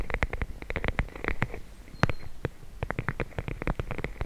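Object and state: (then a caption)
Plastic bag of gel beads. A small clear plastic bag filled with teal gel beads is held in both hands and tapped and scratched with long blue nails. The beads squish and shift inside the flexible, full bag. The result is a quick run of soft, muffled, close-up taps and crinkly scratches with a low squishy body and brief bright ticks.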